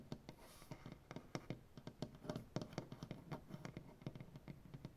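Fingertips and painted nails of both hands tap quickly across a solid, light wood butcher-block tabletop. The result is a rapid, uneven run of short, dull knocks that are mostly low and die away almost instantly, with occasional brighter clicks from the nails.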